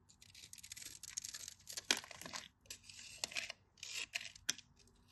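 A metal craft knife blade cuts a grid into a solid cream-colored bar of dry soap and shaves cubes off while fingers hold and rub the bar. Bright, dry scraping and crackling bursts come and go, broken by sharp high clicks as pieces snap away, with almost no low end.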